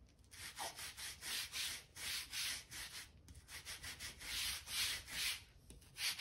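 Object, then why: Oak plank floor. A hand-held gap brush scrapes dirt out of the seams between the planks of a solid oak floor. It makes a series of quick, rhythmic, bright scratchy strokes, steady and close with almost no low end, pausing briefly near the middle before resuming.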